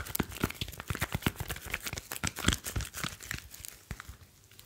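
A smartphone with a glass screen and metal back is held in both hands while fingertips rub and tap its metal casing. A rapid, uneven run of dry taps and scratchy, crinkling rubs is heard, with bright clicky edges over a low thump. Each tap stops dead with no ring, and the sounds thin out and grow quieter toward the end.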